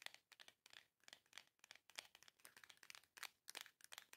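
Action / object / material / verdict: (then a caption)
tap / small printed cardboard box / cardboard / none. Long nails tap and scratch quickly across the surface of a small, long, hollow printed cardboard box. About 22 short, dry, crinkly clicks and scrapes come through, quiet and bright with almost no low end. Each one stops instantly with no ring.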